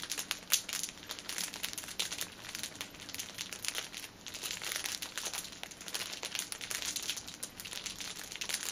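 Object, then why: Pocket tissue pack in thin plastic film. A six-pack of pocket tissues wrapped in clear cellophane film rests on a table while fingers squeeze and scratch the wrap at its ends. The result is a steady stream of bright, dry crinkling and crackling, almost all high in pitch with very little low end. The loudness swells and dips with each squeeze.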